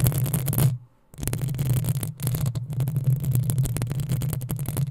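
Long nails scratch fast across the hollow metal mesh grille of a black desktop microphone, producing dense, rapid scraping strokes. A heavy low rumble around 110 Hz sits under bright, crackly scratch transients. The scratching stops briefly near the one-second mark, then resumes.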